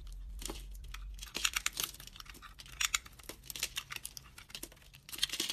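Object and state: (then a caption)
Dry bar soap being cut and scraped. A utility knife blade cuts and scrapes chunks and flakes off a hand-held bar of dry white soap with a red coating, mostly peeled down to its white core. After a brief quiet start with a low hum, the clip fills with bright, crisp crunching and scratchy tearing sounds in quick, irregular bursts.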